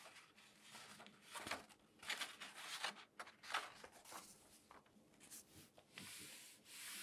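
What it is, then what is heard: Newspaper pages being turned and rubbed. Both hands turn a page of an open newsprint newspaper section lying flat and rub the thin sheets with their fingertips. The result is soft, bright rustling and crinkling in uneven bursts, with a steady airy hiss at the end.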